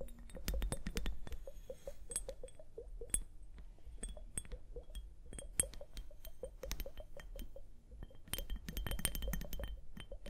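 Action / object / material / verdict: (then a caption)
tap / plastic liquid hourglass filled with liquid and beads / plastic / none. A small clear plastic liquid hourglass, full of liquid and beads and held upright, is tapped and scratched with long painted nails. Rapid, dense clicks and light scratches sound throughout, each short and bright with a faint glassy clink over a low, steady hum.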